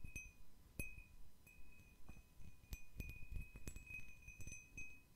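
A round, medium-sized, hollow and empty cut-crystal glass bowl is held in one hand and tapped with fingernails at an uneven pace, about a dozen light taps. Each tap gives a soft low knock with a thin, high glassy ring near 2.6 kHz that lingers faintly between taps, all at a quiet level.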